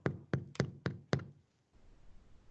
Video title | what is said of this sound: TECNOLOGIA DE ALIMENTOS 07/07/20 | Você bate no fundo, ó. Tá oco, não tá o barulho de oco? Sim. É o sinal de que ele realmente assou por dentro